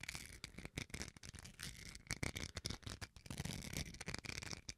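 Fingernails scratch the surface of a small, solid white plastic rice paddle spoon held close to the microphone. Quick, uneven strokes produce dry, bright rasping bursts with a band of scratchy hiss and a low, close-up thump underneath. Each burst stops almost instantly, with short gaps between strokes.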